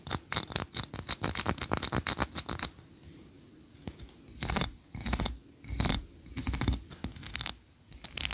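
Long nails scratch the ridged tiers of a solid white ribbed wax tree-shaped candle, held tilted and then set upright. Fast, dense, bright scratching fills the first few seconds, then falls to near silence. Separate raspy bursts of scraping follow through to the end.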